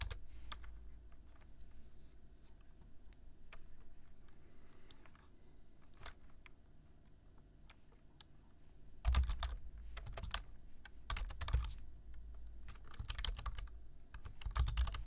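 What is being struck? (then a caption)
Plastic computer keyboard. Fingertips type at a slow pace on a black plastic computer keyboard, tapping its keys. Soft, scattered clicks sit over a steady low hum for the first nine seconds, then the key taps turn louder and sharper in quick bursts through to the end.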